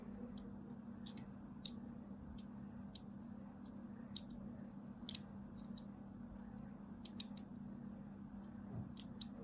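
A thin metal blade carves parallel lines into the edge of a solid white soap bar with a crumbled corner, held in the hand. Short, crisp, bright scratching clicks come in quick irregular bursts over a quiet, steady low hum.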